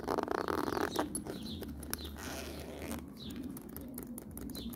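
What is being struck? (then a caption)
Woven faux-leather handbag. Long nails scratch and tap the surface of a black woven faux-leather handbag with a zip pocket and metal fittings, giving a dense, louder rustling scrape for about the first second followed by quieter, irregular bright ticks and soft patter. Near the end the hands handle the zipper pull, so faint zipper and metal clinks may be mixed in.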